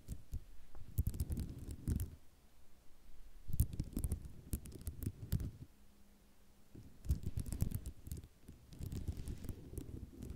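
Long nails tap and scratch on a flat sheet of small white ceramic mosaic tiles. Soft, muffled bursts of rapid tapping, scratching and rattling come in clusters, with a few bright clicks and quieter pauses between them. A faint steady low hum briefly sits under one of the pauses.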